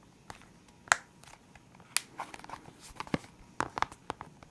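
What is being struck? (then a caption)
Clear hard plastic pen case holding felt-tip markers. Fingertips and nails tap on the lid of a full, clear hard plastic box of felt-tip pens. Nine sharp, bright plastic clicks come at irregular intervals with soft rustling in between. Each tap dies away almost instantly, and the overall sound is quiet and close.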